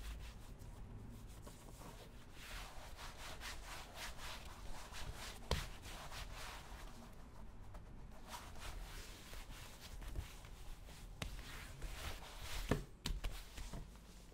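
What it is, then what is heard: Leather cowboy boot being rubbed. A brown leather cowboy boot, worn on a foot resting on a shoe-shine stand, has its toe and vamp rubbed with bare fingertips and palms. The result is a quiet, steady, low, dull rubbing and soft swishing of skin on leather, with a few brief sharper brushes and taps.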